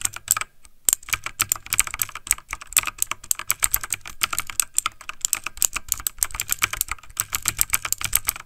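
Fingertips of both hands type fast on a backlit plastic mechanical computer keyboard. A rapid, steady run of sharp, bright key clicks sounds, each tap dying out almost instantly, with only a faint low thump beneath.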